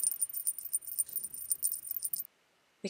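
A closed box with bells inside is shaken much harder, bringing out the larger bell inside. Rapid, bright jingling rattles with a high ringing tone continue for about two seconds, then stop into near silence before a short final jangle with a lower thump.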